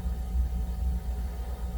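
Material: Nothing is struck.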